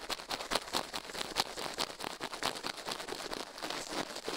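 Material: Silicone.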